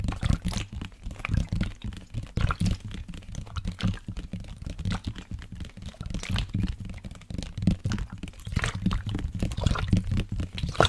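A black, hollow plastic sports water bottle holding liquid is held sideways in both hands and tapped rapidly with fingertips and nails. The result is a dense run of dull, low-pitched thuds and clicks, with the liquid sloshing inside.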